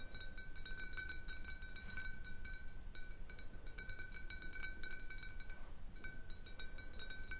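Fingernails tap quickly and irregularly on the sides of a large, hollow, clear glass bottle holding a little water and resting on a table. Each tap gives a bright glassy click with a short ringing tone near 1.5 kHz. A steady low rumble sits underneath.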